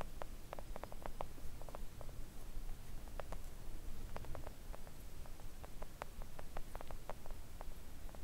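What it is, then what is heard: Silicone nail art mat tapped with nails. Long acrylic nail tips tap gently on a flat pink silicone nail art mat lying on a table. The result is a quiet, irregular patter of short, soft clicks with almost no ring, over a steady low rumble.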